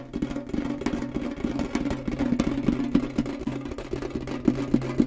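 A tall, hollow, rectangular printed metal Kellogg's tin canister with its lid on is held upright and tapped quickly and firmly on its sides with fingernails and fingertips. The taps come in a fast, uneven patter of short, dry clicks and knocks over a low, hollow metallic ring that dies away almost at once.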